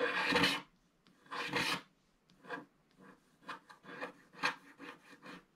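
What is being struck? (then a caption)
Wax-coated scratch art paper card scratched with a wooden stick. A wooden stick scratches the coating at the right side of a flat black wax-coated scratch art paper card. Two long, dry rasping strokes are followed by a run of shorter, irregular scratches, each a bright, gritty scrape with quiet gaps in between.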